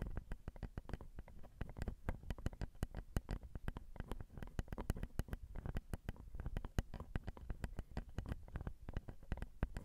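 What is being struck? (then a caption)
Metal X/Y microphone capsules on a recorder. Long acrylic nails tap rapidly on a Zoom recorder's metal X/Y microphone capsules, right where the capsules cross. The result is a dense, steady stream of quick, dry taps that land close and heavy as soft low thumps with faint clicky tops, each dying almost instantly.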